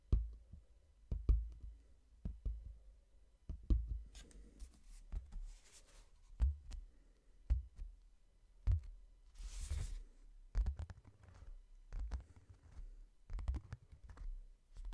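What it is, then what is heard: Hardcover book. Fingertips tap the glossy cover and edges of a hardcover book in slow and quicker runs, each tap a short, dull, low thud that dies away almost at once. Faint scratchy rustles drift in between the taps.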